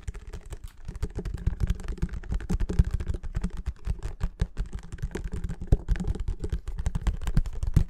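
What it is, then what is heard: Plastic bottle of baby oil, tapped. Fingertips and nails rapidly tap the sides of a clear plastic Mamia baby oil bottle with a yellow cap, apparently filled with liquid. A dense, fast stream of short, dry clicks and taps comes through, each dying out almost instantly, with most of the energy in a low, thumpy body and faint bright ticks on top.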